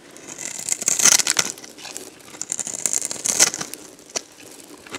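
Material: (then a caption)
Soap. A box-cutter blade scrapes crumbly shavings off a solid, dried, hand-sized yellow soap bar. Bright, dry, crackling scrapes come in uneven bursts, with the loudest passes around one and three and a half seconds. There is almost no low end, and each stroke stops short with no ring.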